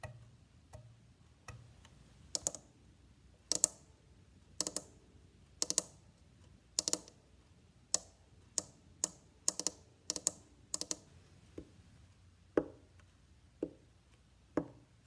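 Fingers tap near the bridge and tailpiece of a hollow, varnished wooden violin body, then on its side rib, then scratch the back with nails. About 24 separate sharp, dry clicks are heard, bright and high with almost no ring, over a quiet background.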